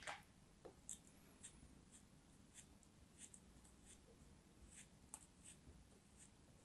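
A knife blade scrapes and slices crumbly sand from a small, solid orange kinetic sand cone held between fingers with long white nails. Soft, crisp, bright scraping ticks and light crunches come in a series of short bursts over a quiet, low background hum.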